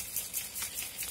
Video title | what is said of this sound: Mon étoile de Noël avec la collection Gear Up For Christmas de Stamperia @Stamperiainternational | il faut bien bien le secouer et dès que vous entendez la perle normalement c'est bon